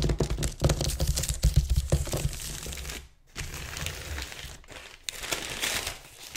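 Fingertips and nails scratch and rub quickly across a large, thin, crinkled sheet of white-grey tissue or wrapping paper lying flat on a table. Dense, bright crinkling and scratching comes with low thumping rumble, loudest in the first half. After a brief near-silent pause, a softer, steadier rubbing follows.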